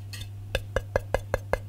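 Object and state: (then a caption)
Cast metal wall switch plate, not plastic. An Amertac 90TTVB Egg & Dart aged bronze cast wall plate for a light switch is tapped seven times in a steady rhythm. Each tap is a short, dry clink with a brief tone near 540 Hz that dies away almost at once, over a low steady hum. The sound shows the plate is metal rather than plastic.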